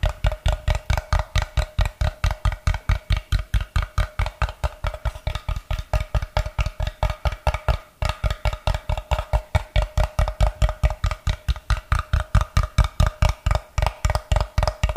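Fingertips and nails tap the faces of a solid, brick-sized block of unfinished light wood held in both hands. About 69 short, dull, low-pitched knocks come in a quick, mostly steady stream, each dying away almost instantly.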